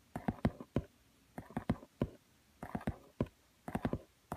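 Long nails tap the shiny laminated cardboard cover of a thin glossy book lying on a woven mat. They make quick, dry clicking taps in small clusters separated by brief pauses. Each tap has a soft, low-mid body and dies away almost instantly.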